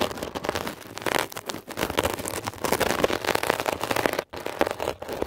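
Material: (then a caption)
Foam. A metal ear pick scratches and pokes a blue, mesh-covered textured foam scrub sponge, making a dense run of rough, crackling scrapes that fill the mids and highs with bright texture. The scratching runs almost continuously, with a brief silent break just past four seconds before it picks up again.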